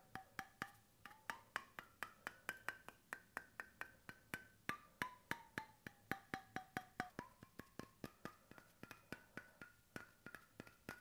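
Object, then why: Bamboo cap on a stainless steel bottle. Fingertips and knuckles tap about 46 times on the face of a bamboo wooden cap screwed onto a stainless steel bottle. Each tap is a short, dry, hollow knock that dies away almost at once. A faint pitched tone rises and falls between about 700 Hz and 1.5 kHz as the taps move.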